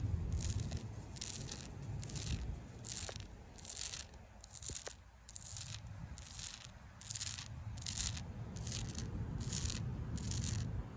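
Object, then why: Tree bark scratched with fingernails. Long pink acrylic nails scratch the flaky, furrowed bark of a large, solid street tree trunk. Quick, rhythmic strokes make bright, crackly scraping bursts over a steady low outdoor rumble.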